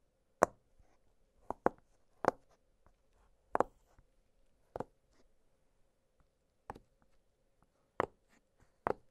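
Fingertips press the bubbles of an octagonal blue silicone push-pop fidget toy, making nine short, sharp pops at uneven intervals. Each pop is a crisp, dry snap that dies away almost instantly, with quiet gaps and a faint steady hum between them.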